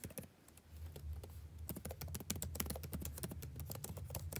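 Fingertips of both hands type continuously on a dark laptop's blue-backlit plastic keycaps, producing rapid, light, crisp clicks with bright edges and very short decay. The taps start sparse, then become dense and steady from about halfway through, over a constant low hum.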